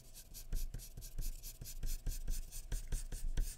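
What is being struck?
Graphite pencil on a paper sheet over a wooden surface.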